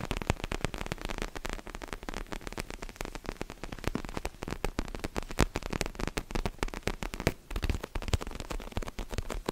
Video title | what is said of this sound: ASMR CALM & RELAXING TRIGGERS FOR SLEEP! 😴 | Vous avez des tapotements collants. Et puis il a un joli tapotement d'ongles terne.